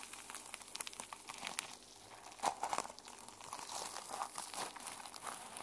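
Long nails and fingertips scratch and brush the teal plastic sequin cover of a small notebook held in the hands. The result is a quiet, continuous bright crinkling rasp, broken by a rapid run of short, sharp clicks as the sequins flip, with almost no low end.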